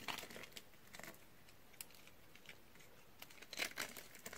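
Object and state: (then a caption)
Dry bar soap. A pink and white striped dry soap bar, held in one hand and already scored into a grid, is cut and scraped with a utility knife blade while long-nailed fingers press the scored surface. The result is a string of quiet, dry, bright crunches and crinkles, with the densest cluster near the start and again toward the end. Flakes and chunks crumble off the bar.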